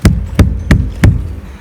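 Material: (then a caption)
Plastic. Four knocks on the upper part of a farm water tank give short, low, hollow thuds centered around 70 Hz that die away quickly. The hollow sound shows the tank is empty at that height, with no water up there.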